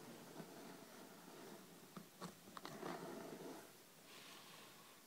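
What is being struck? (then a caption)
Hardcover book with cloth-covered board cover and paper pages. Long red-painted nails tap and lightly scratch the top of a thick, solid hardcover book with a cloth-covered board cover and paper page block, lying flat on a dark table. Soft, dull taps mix with a brief, quiet scratchy rustle over a faint hiss.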